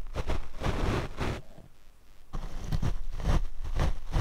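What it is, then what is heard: Foam microphone windscreen being brushed. A large paint brush with natural bristles and a wooden handle is swept back and forth across the small, cylindrical black foam windscreen covering a black Rode microphone on a small tripod. It makes deep, rumbling, scratchy swishes concentrated in the low end, with a quieter lull in the middle before the brushing strokes return.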